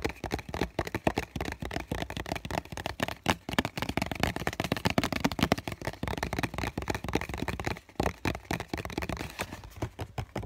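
Fingertips and nails tap and scratch the printed side of a small hollow cardboard tissue box with a green floral print. It makes a fast, dense run of dry, crisp taps mixed with scratchy rustling, each tap dying away almost instantly with a hollow low thump beneath. The tapping continues unevenly throughout, with a brief lull near the end.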